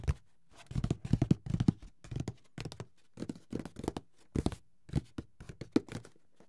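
Fingertips tap and scratch the lid of a closed, hollow, grey paper-covered cardboard Monopoly board game box. Quiet clusters of quick, dull, low-pitched taps come with brief papery scratching, each dying away almost instantly, separated by short silences.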